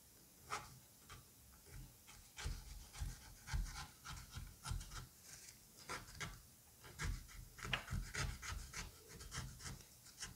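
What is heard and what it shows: A scalpel tip scrapes around the edge of the seed cavity in a halved butternut squash with moist orange flesh. About fifteen short, irregular wet scraping strokes are heard, each a bright rasp over soft low thuds.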